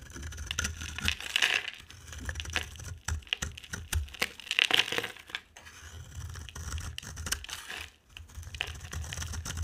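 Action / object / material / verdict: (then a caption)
scrape / bar of soap scraped with a blade / soap / none. A box cutter blade scrapes shavings off a dry, palm-sized oval soap bar with an orange rim and purple core, held in the hand. Dense, dry, crackly scraping and crunching comes in uneven bursts, bright and brittle with a strong tone near 2.8 kHz. A soft low rumble sits underneath throughout.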